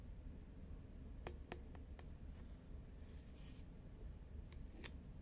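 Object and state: Cardboard chip can tapped with nails.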